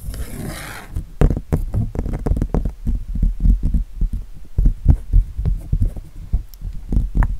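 Fingertips and nails scratch the surface of an acrylic-painted canvas showing a winter tree, held upright. A brief broadband scratchy rasp opens, followed by a fast, uneven series of dull, low-pitched scrapes and thumps that are deep and muffled with almost no high end.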